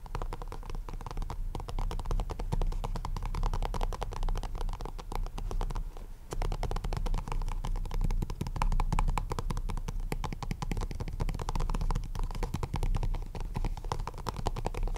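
Fingertips of both hands tap quickly on the top face of a small, hollow, purple printed cardboard deck box. The result is a dense, continuous patter of soft, hollow taps with a low, thuddy body and a faint ring near 900 Hz, briefly easing around the six-second mark before picking back up.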